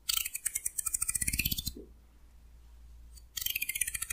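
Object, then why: Wooden hair comb. A fingernail runs along a solid wooden hair comb held at an angle, plucking its teeth in a rapid series of bright, dry clicks with a soft low undertone. The clicking stops for a quiet pause of about a second and a half, then a second run of crisp plucks starts up and continues to the end.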